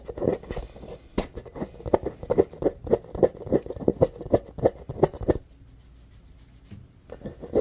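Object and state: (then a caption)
Rubber playground ball scratched with fingernails. Fingernails quickly scratch the embossed, textured surface of a medium-sized hollow rainbow-colored rubber playground ball. Rapid, dry scratching bursts carry a hollow mid-range tone, then a quiet pause of over a second falls before the scratching resumes at the end.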